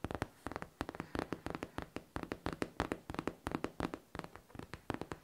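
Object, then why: Faux leather backpack. Long nails scratch and tap across the smooth surface of a hollow pink faux leather backpack. The result is a rapid, uneven run of dry, sharp clicks with a faint low-mid hollow body and almost no ring, between soft scratching.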